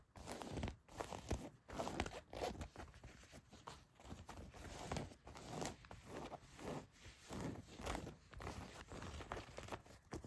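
Long white nails scratch the fabric and stitching of blue denim jeans around the back pocket and seams. Quiet, rough scratching strokes come in irregular bursts, with a low, muffled rasp and a faint bright hiss.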